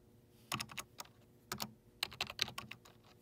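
Fingertips rapidly press the hollow keys of a black plastic desktop keyboard's numeric keypad, typing numbers. Eleven short, bright plastic clicks come in quick bursts with pauses between them, each dying away almost at once, with little low end.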